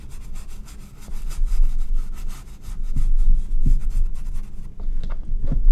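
A paintbrush held in the fingers is stroked and rubbed across a medium, flat, stretched cotton painting canvas on a wooden frame, wet with acrylic paint. Soft, low, scratchy brushing strokes repeat quickly and unevenly, with a few duller thumps as the bristles press into the canvas.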